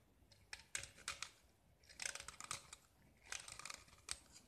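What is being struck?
Painted gypsum brick scraped with a metal blade.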